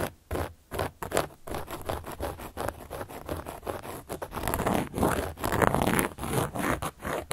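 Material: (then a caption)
Cork. A carving tool, held in a hand with long yellow and black nails, scratches and traces across a large, round, solid cork board or coaster lying flat. Quick, uneven rasping strokes follow one another with brief gaps, giving a dry, gritty scraping with a soft low body and little bright edge.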